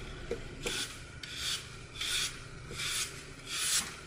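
A red-gold glitter-coated floral foam block, solid and porous, is held in the palm and carved into small chunks with a utility knife blade. Repeated rasping, crunchy cuts come in bright, hissy strokes at a steady, unhurried pace, with small sharp clicks between them.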